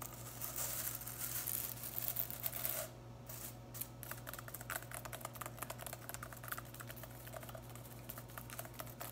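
Long acrylic nails and fingertips scratch and flick through the dense blue synthetic plastic bristles of a household broom head with a white plastic top, held in the other hand. A dense crackly scratching gives way, after a brief quieter moment, to rapid dry ticking clicks over a steady low hum.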